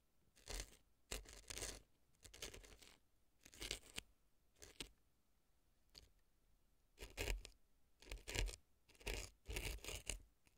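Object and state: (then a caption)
Dry floral foam scraped inside a silicone ear. A brown wooden-looking earpick scratches the crumbly dry floral foam packed inside the left ear of a silicone fake ear resting on a dry floral foam block. Quiet, dry, crunchy scraping comes in short bursts at irregular intervals, bright and gritty, separated by near-silence.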